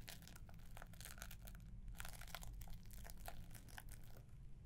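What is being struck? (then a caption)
Gift box wrapped in paper with ribbon. Long nails scratch across the paper wrapping and gold ribbon of a green-wrapped gift box. Dense, bright crinkling and rasping scrapes come in quick overlapping bursts. A steady low hum runs underneath throughout.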